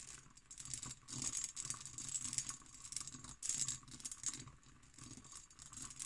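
An empty, hollow hobnail-pattern cut glass decanter with its stopper is scratched and tapped with long green nails. The result is a quick, bright, rattling patter of scratches and light taps, each dying away almost at once, with a faint low rumble underneath.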